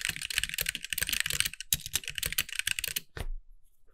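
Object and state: Plastic mechanical keyboard.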